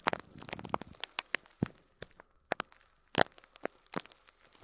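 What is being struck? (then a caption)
Clear plastic bag of loose plastic pearl beads. Fingertips squeeze and crinkle an upright clear plastic bag of loose faux plastic pearl beads, shifting the beads inside. A quiet, uneven series of sharp, bright crinkles and light clicks is heard, with a denser rustle at the start and short pauses between bursts.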